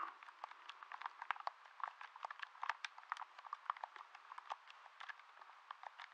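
A hollow blue plastic handheld game controller is held in both hands close to the microphone while fingertips and thumbs tap and click its buttons. About thirty quick, dry plastic clicks and taps come in an irregular stream, each one very short with almost no ring, centered in the midrange with no low end.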